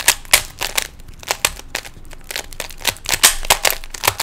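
Fingertips twist the layers of a small hollow plastic 3x3 Rubik's cube, making a rapid, uneven run of sharp plastic clicks and snaps. The clicks are bright and dry, with almost no low end, and each dies away almost instantly.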